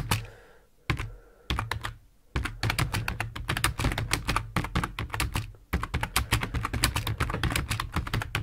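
Fingertips of both hands type on a full-size black plastic computer keyboard resting on a wooden desk. A few separate key presses with short pauses open the clip, then a steady run of quick, clacky keystrokes follows, each with a dull low thud and a short bright click. The typing pauses briefly just before the six-second mark and then resumes.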